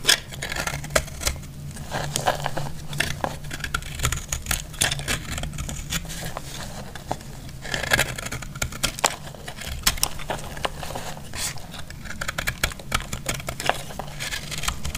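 A metal blade cuts into a dry, recycled purple soap block held in the hand, and crumbly chunks break off. The clip is full of rapid, sharp, dry crackles and bright snapping clicks over a steady low hum.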